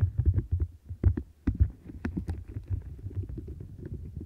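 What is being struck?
Silicone textured scrubber mat.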